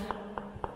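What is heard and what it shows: Three knocks on a cracked cement floor screed each give a short, hollow-sounding thud centred around 400 Hz to 1 kHz that fades quickly. The screed is hollow and cracked, and the fix is to chip it all off and tile the floor.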